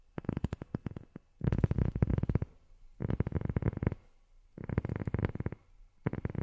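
Long fingernails tap on a rubber sheet in quick, rapid bursts separated by short pauses. Each tap is a soft, dull thud, mostly low-pitched, that stops almost instantly with no ring.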